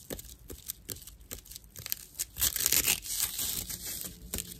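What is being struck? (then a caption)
Dried natural loofah sponge. Long nails roughly scratch a thick slice of dried natural loofah fiber with hollow chambers. The result is dry, bright, crackling scrapes in quick, uneven strokes that build into a louder, denser rasp midway through before easing off.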